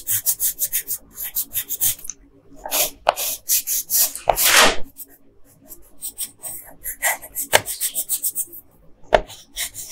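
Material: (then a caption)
Paper. A yellow colored pencil scratches a flat printed paper coloring sheet in short strokes near the figure's hair. The result is rapid bursts of bright, dry scratching, with brief pauses and a few sharper taps as the pencil strikes the sheet.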